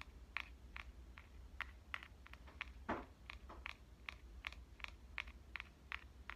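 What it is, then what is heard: Compact digital camera tapped with fingernails. Long, dark-painted nails tap the front of a pink Canon compact digital camera with a metal and plastic body, held upright. About twenty quick, dry clicks with a bright edge near 2.3 kHz land in an uneven rhythm, each dying away almost at once. A steady low hum sits underneath throughout.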